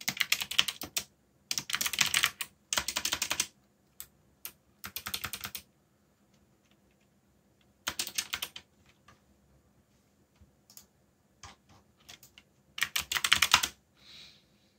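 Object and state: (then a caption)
Plastic mechanical keyboard. Fingertips tap the keys of a backlit black plastic mechanical keyboard while typing, producing bright, crisp clicks in quick bursts separated by short pauses. Sparse single keystrokes fill the gaps, and a final fast flurry gives way to a soft, brief hiss at the end.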